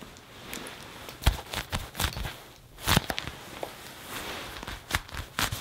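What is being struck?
Leather jacket.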